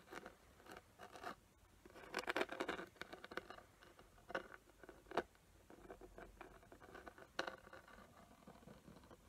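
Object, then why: Small glitter-covered box. Long nails scratch and tap a small square box with a glittery surface and raised glue outlines. The result is quiet, dry, papery rasping in the midrange, broken by a few sharper, short taps that die away almost instantly.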